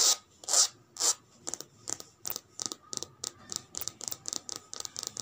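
Long red nails scratch and rub the surface of a cream-and-grey checkered coated canvas handbag with a metal logo plate on the flap, lying flat on a woven mat. Three longer, louder rubbing strokes are followed by a quicker run of short, crisp scratches, 18 in all. The sound is a bright, hissy scrape with almost no low end.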